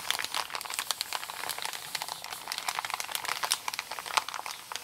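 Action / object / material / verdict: scrape / kraft paper mailer bag / paper / none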